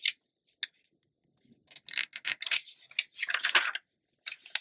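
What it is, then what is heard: Glossy paper magazine pages rubbed and turned. A glossy paper magazine lies open and flat while fingertips and long nails rub across its glossy pages and turn them. The result is bright, crisp rustles and scrapes, with short sharp ticks at the start and clustered swishing bursts of paper friction later in the clip.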